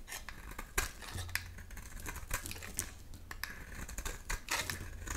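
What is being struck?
Round bar of soap.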